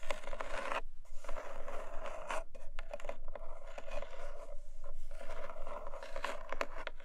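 Long nails tap and scratch the top of a long, narrow, closed, hollow black cardboard gift box resting on a fluffy rug. A continuous dry, papery scraping is broken by quick, sharp taps, with a steady hollow midrange tone and almost no ring after each touch.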